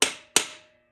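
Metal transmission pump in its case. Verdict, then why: Seated. Two sharp, bright metallic taps from a hammer and drift on another spot of the metal pump in a TH350 transmission case, each decaying quickly with a faint lingering ring. The solid sound shows the pump is fully seated on the case surface.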